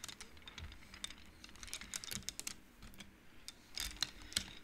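Hands slide and flick painted wooden beads along the rods of an upright wooden-frame abacus, making quick, bright, dry clacks. The clicks come in irregular bursts over soft, quiet handling noise, with a denser flurry toward the end.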